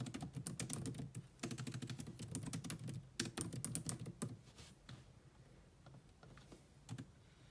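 Long nails and fingertips type on a grey laptop keyboard with black plastic keys, making rapid clicky taps with a soft low thud under a bright click. The typing comes in fast bursts for the first few seconds, then thins to a few scattered taps that fade toward the end.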